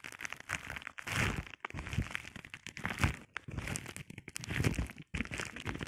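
A flat sheet of clear plastic bubble wrap is scratched and pressed with the short nails and fingertips of both hands. The result is a dense, continuous crinkling and crackling, with soft low thumps under bright, dry scratching. It comes in uneven bursts broken by a few brief silent gaps.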